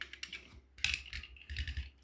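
A 1:43 IXO die-cast 1991 Saab 900 Cabriolet model is rolled, making a quick series of light, bright, dry tapping clicks. The tapping comes from the back wheel: the rear axle is slightly crooked, so the rear wheels wobble.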